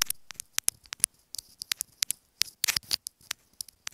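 Long acrylic nails tap and scratch a small, hollow white plastic inline remote microphone on a wired earphone cable lying on a fabric bed. About two dozen sharp, bright clicks and ticks come in an uneven patter, with a brief cluster of scratchy rustling near the end. The sound is thin and high with almost no low end, and each click dies away instantly.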